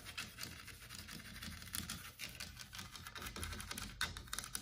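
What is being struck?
Painted carved wooden wall panel.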